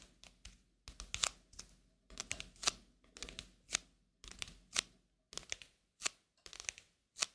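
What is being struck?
Coated paper playing card.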